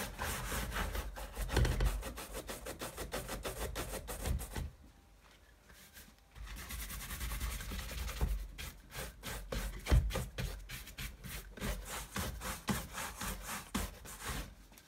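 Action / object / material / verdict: scrape / leather sneaker upper brushed with a bristle brush / leather / none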